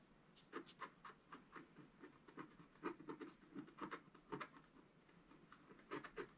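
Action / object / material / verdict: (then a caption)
scrape / coated scratch art paper scratched with a wooden stylus / coated paper / none. A wooden stylus scratches a flat, black-coated scratch art paper sheet lying on a table. A quiet series of short, dry scratching strokes comes in uneven bursts, each with a bright, raspy edge over a soft mid-toned body.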